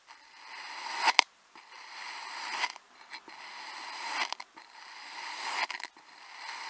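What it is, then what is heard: Kinetic sand being sliced. Small solid crescent-shaped slabs of purple kinetic sand on a white surface are sliced into pieces with a white plastic cutting tool with a yellow handle, cutting and scraping through the sand. A series of soft, grainy, bright scraping strokes swells and ends in crisp clicks as each cut finishes, with near-silent pauses between strokes.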